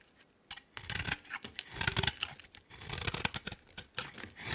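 A hand-sized solid green bar of soap with a yellow outer layer is held in one hand and shaved and scraped with a utility knife blade. Short bursts of bright, crisp scraping and shaving rasp come in quick succession after a brief quiet start, with a few sharp high clicks as the blade catches.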